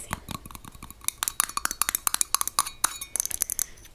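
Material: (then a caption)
Glass. Long nails tap quickly and irregularly on the perforated metal lid and glass body of a small glass pepper shaker full of ground pepper. About 19 short, bright clicks and clinks ring near 1.1 kHz and die away almost at once, growing louder and denser in the second half.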